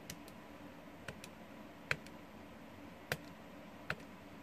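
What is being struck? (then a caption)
Plastic calculator keys. Fingertips press and click the plastic keys of a small, hollow, blue TI-30X plastic scientific calculator lying on a wooden desk. Several short, sharp clicks come at irregular intervals, each dying away almost instantly over a faint steady background.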